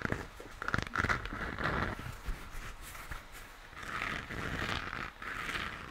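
Fingertips tap and scratch the shell of a hollow plastic moon lamp, its base facing outward. Quick, light taps with a faint bright ring come first, then longer soft scratching and rustling across the plastic surface.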